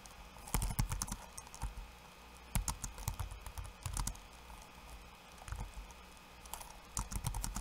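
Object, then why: Plastic laptop keyboard keys. Fingertips of one hand type on a backlit laptop keyboard with plastic keycaps. Quick bursts of soft, dull taps with bright clicky edges come in irregular clusters over a low, steady background hum. Each keystroke dies away almost instantly.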